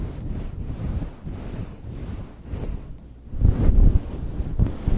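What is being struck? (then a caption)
Faux fur microphone windscreen. Both hands scratch and squeeze a soft, fist-sized pink fluffy synthetic faux fur cover over a foam mic windscreen with fingertips and short nails. The result is a muffled, wind-like low rumble and rustle with almost nothing in the highs, growing louder near the end with two stronger thumping bursts.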